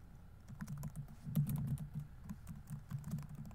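Fingertips rapidly tap the plastic keys of a laptop keyboard on a grey laptop body while typing. The result is a quick, uneven patter of soft, dull clicks, with a low thudding body and faint bright ticks.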